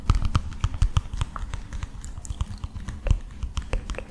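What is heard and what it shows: A flat illustrated cardboard picture book with a palm tree picture, held upright in both hands, is tapped and scratched with fingertips and nails. The result is a rapid, irregular patter of soft, dull, low taps with brief bright clicks from the nails and faint scratching between them. Each tap dies away almost instantly.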